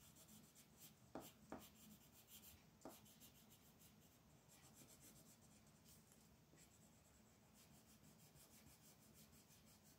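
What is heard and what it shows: A wooden colored pencil, held in the hand, is rubbed and scratched back and forth to shade a thin white paper mandala page lying flat on a dark wooden table, with the long nails of the other hand resting on the sheet. The result is a quiet, steady, bright scratchy rubbing with a low hum beneath it, broken early on by a few sharper ticks of the pencil on the paper.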